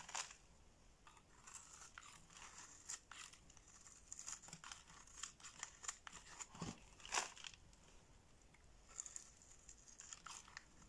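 A box-cutter blade shaves shredded flakes from a solid orange bar of soap held in the hand. The result is a string of quiet, dry, crackling scrapes with bright, crisp edges. The cuts come in short, irregular bursts, and a few strokes are sharper and louder.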